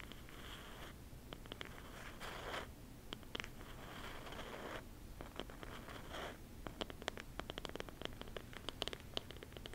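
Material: Wood.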